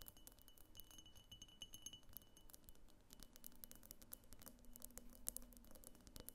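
Long painted fingernails tap and scratch all around a medium egg-shaped vase of pink opaque glass with a thick clear glass base, hollow and empty, standing on a wooden table. Quick, quiet, bright glassy clicks and clinks come in a dense patter over a soft scraping texture, each tick dying away almost at once.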